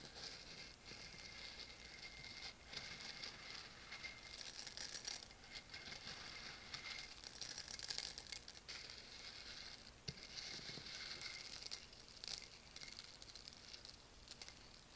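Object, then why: Whole roasted coffee beans in a stone mortar. Fingertips stir and rub through loose, whole roasted coffee beans in a volcanic stone mortar, then pick some up and drop them back in. The result is a quiet, bright, dry rattle of tiny clicks and rustles, with louder bursts of clattering as the beans shift and fall back into the bowl.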